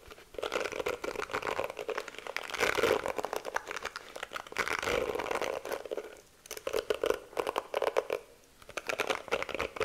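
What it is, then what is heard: Plastic hairbrush bristles scratched. Long nails rapidly scratch and flick through the plastic bristles of a pink detangling hairbrush held close to the mic. The result is a dense, dry crackling and clicking with a steady midrange tone near 430 Hz and bright, crisp edges. The sound comes in bursts, with brief lulls around six and eight and a half seconds.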